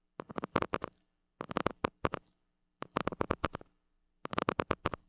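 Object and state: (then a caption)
Metal mesh microphone grille being scratched. A white plastic stick scratches the hollow metal mesh grille of a gold mini microphone. Four bursts of quick, rasping strokes are heard, separated by short pauses. Each stroke is dry and scratchy, centered in the midrange, over a faint low hum.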